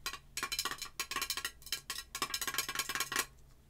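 Long nails tap rapidly on the gold metal lid and the glass of a red glass jar candle filled with wax, held sideways. The taps are quick, bright clicks with a faint ringing tone around 1 kHz that dies away almost at once.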